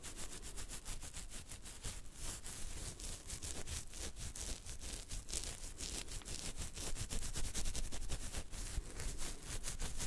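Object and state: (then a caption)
Beard hair being scratched. Fingertips and nails scratch a full beard on the chin and neck along the jawline, making a quiet, dense, rapid rasping with bright crackly streaks over a steady low rumble. The scratching runs continuously and irregularly, growing slightly louder toward the end.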